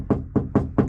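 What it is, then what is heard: Resonant untreated sheet metal panel. Four taps on the bare, untreated sheet metal of a Ford F350 (OBS) truck cab panel, before any sound deadening is applied. Each tap gives a short, rattly, resonating ting centered around 220 Hz with low-mid body, dying away within about a tenth of a second. The undamped panel rings rather than giving a solid thud.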